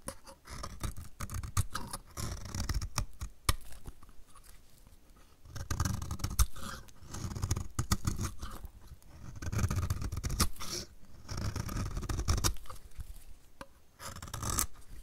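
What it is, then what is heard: Dry soap bar scraped with a blade. A solid dry blue soap bar is scraped along its edge with a snap-off utility knife blade, giving repeated gritty scraping strokes with sharp crisp clicks. The sound comes in several bursts of rough, low-heavy scraping with bright flecks, separated by quieter pauses.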